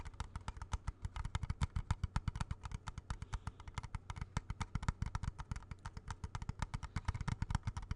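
A small hollow plastic video game cartridge, held in both hands close to the mic, is rapidly tapped with fingertips and nails. The result is a fast, steady stream of short, dry taps, each a hollow low thud with a crisp bright click on top, decaying almost at once.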